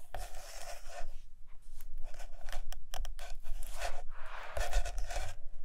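Long acrylic nails scratch and tap on the glossy paper pages of a large open hardcover photo book lying on a carpet. The result is a series of dry, scratchy swishes and light taps, with brief bright bursts over a low rumble.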